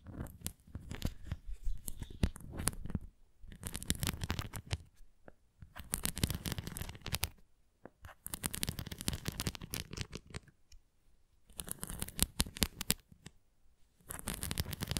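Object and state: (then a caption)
Plastic ring toy scratched with nails. Long nails scratch and tap across the textured nubs and rim edge of a red plastic flying ring toy held in both hands. Bursts of dense, crackly scratching with a low, dull body and bright clicky edges alternate with short quiet pauses.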